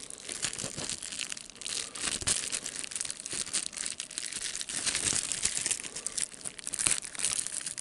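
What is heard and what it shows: Fingertips press and pop the large air bubbles of a clear plastic bubble wrap sheet while crinkling it. Dense, bright crinkling runs throughout, punctuated by sharp, short pops with very little low end.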